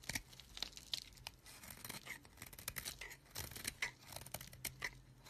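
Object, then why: Bar of soap scraped with a knife blade. A solid green bar of soap, held in the hand, has its face scraped repeatedly with a knife blade, shaving off crumbly bits. The result is a rapid series of dry, bright, crisp scraping and crackling strokes with very little low end.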